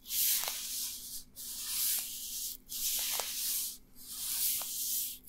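Dry, thin black nitrile rubber gloves on both hands rub together, fingers and palms, close to the recorder. Four long, steady strokes of bright, hissy friction are heard, separated by short pauses, with faint rubbery squeaks within each pass.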